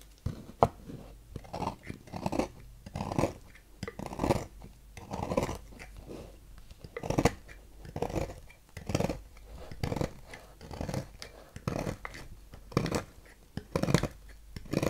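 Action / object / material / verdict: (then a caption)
scrape / solid bar of soap scraped with a thin metal knife / soap / none. A thin metal knife scrapes flakes from the ridged cut face of a partly carved, solid blue Fax bar soap held in the hand. Quiet, dry, crunchy scraping strokes repeat in quick bursts, each short and sharp with little ring, separated by brief pauses.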